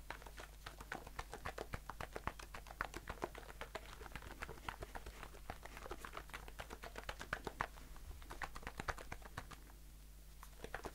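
A blue aluminium aerosol shaving foam can, held in one hand, is tapped rapidly with fingertips and short nails. The sound is a quick, dense patter of short, dry ticks with a slight metallic tone over a steady low hum. The tapping briefly thins out near the end before picking up again.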